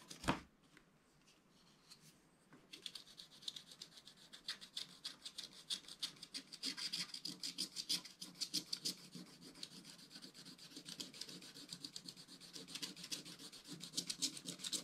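A wooden stylus scrapes the last black areas of a wax-coated scratch art page with rubbing strokes. After a brief tap and a quiet pause, a steady run of quick, bright, dry scratching strokes continues to the end.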